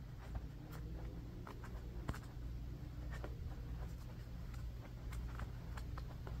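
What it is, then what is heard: Bamboo paddle hairbrush. A rectangular bamboo paddle hairbrush with a black cushion and pin bristles, lying on carpet and briefly held up, is tapped and scratched by fingertips and short nails on its bamboo back and bristles. Short, quiet clicks and scratches sound over a steady low hum.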